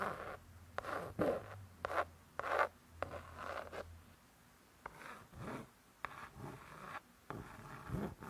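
Long nails scratch and tap on the laminated cardboard cover of a closed spiral-bound hardcover cookbook. Soft, irregular scraping strokes mix with short dry taps, and the sound has a papery midrange centred around 1.2 kHz with little ring. The clip stays quiet and close throughout.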